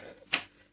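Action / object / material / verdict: flick / coloring book paper page / paper / thick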